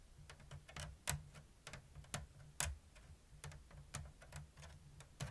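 Long blue nails tap the thin bamboo strips of a round, hollow woven basket with an open diamond weave. Quiet, dry ticking clicks arrive in an uneven rhythm, a few of them sharper and brighter than the rest. Each one dies away almost at once over a faint, steady low hum.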